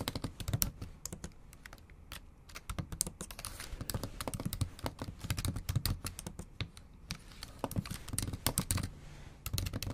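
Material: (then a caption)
Plastic. Long acrylic nails type rapidly on the plastic keys of a bare, backlit MacBook Pro laptop keyboard. The result is a dense, quiet stream of short, crisp clicks and taps with bright edges over a soft low thud, continuing steadily with brief pauses.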